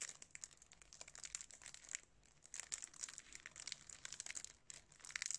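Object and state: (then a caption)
Cellophane-wrapped DVD case crinkled. A plastic DVD case, still sealed in thin clear cellophane wrap, is held in both hands while fingertips and nails squeeze and rub the wrap. The result is quiet, dense, bright crinkling made of many sharp little crackles, with a brief lull partway through before the crinkling picks up again.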